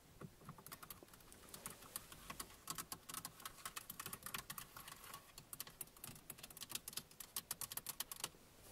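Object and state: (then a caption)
Plastic car center console. Both hands tap and scratch the hard plastic center console panel of a parked car, a large, solid, fixed panel with buttons and air vents, using long manicured nails and fingertips. Rapid, quiet, bright clicks come in uneven bursts over a soft scratchy hiss. Each tap is sharp and dies away almost at once.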